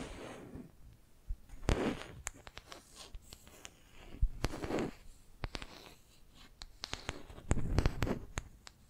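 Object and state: Wooden brush handle, scratched and tapped with nails.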